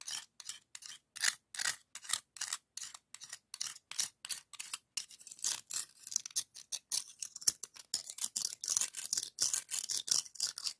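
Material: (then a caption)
Shell. A white scallop shell held in the fingers is rubbed and scraped over the ribs of a hollow pink ribbed scallop shell. The result is a rapid series of short, dry, bright scratching strokes with almost no low end and no ring after each pass.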